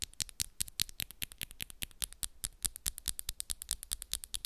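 Long, solid, coffin-shaped acrylic press-on nails, pink and black with moon designs, tap and scratch quickly against the nails of the other hand, recorded close up. About 37 sharp, bright clicks sound in an irregular rapid patter, with brief scratchy scrapes between them. Each click is crisp and dies instantly with no ring.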